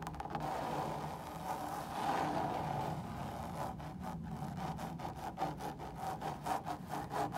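Long pointed nails scratch across the woven textile surface of a large, hollow fabric lampshade lit from behind in a hotel room. A steady, dry rasping rub with a mid-range hiss becomes a run of quicker, separate scraping strokes in the second half.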